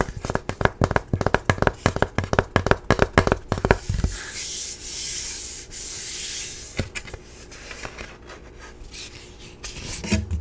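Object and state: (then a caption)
Cardboard cutout, scratched. A tall, flat printed cardboard character cutout, held upright, is rubbed and scratched across its printed surface with the fingertips and nails. The first four seconds are a quick run of sharp, crisp scratches and taps. These give way to a steady, airy rubbing hiss, then quieter scratching that builds to a final brief burst.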